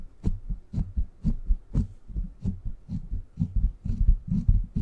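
Fingertips scratch and tap the hollow, rounded steel mesh head of a silver microphone. They make a steady run of soft, deep thumps, about two per second, each with a faint bright scratchy tick on top. Low rumbling fills the short gaps between the taps.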